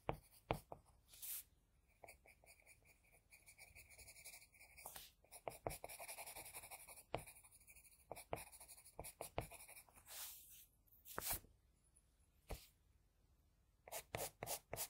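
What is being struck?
Graphite pencil on drawing paper.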